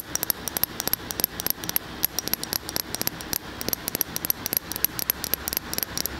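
Long fingernails tap rapidly on the glass side of a large glass candle jar filled with solid wax, held in one hand. The result is a steady stream of short, sharp, bright clicks with a faint high glassy ping and almost no ring, over a low hiss.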